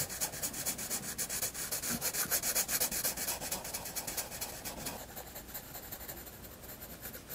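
A graphite pencil scratches and rubs across a white paper sketchbook page while shading. Quick, bright, papery strokes repeat in a loose rhythm of about two per second, louder for the first five seconds and then softer and lighter toward the end.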